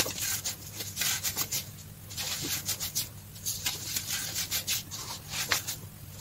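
Fingers grab, squeeze and rub a loose pile of green-dyed baking soda powder on a dark tray, crumbling small clumps. The result is a series of soft, bright, gritty crunches and squeaky rubbing bursts over a faint low steady hum.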